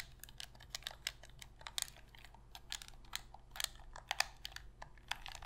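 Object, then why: Hard plastic game controller. A black Sony PlayStation controller of hollow hard plastic is held in both hands while long pink nails tap and scratch its plastic shell and press its buttons. Quick, bright clicks and light scratches come in an irregular patter over a faint low hum. The clicks are dry and short, with almost no ring.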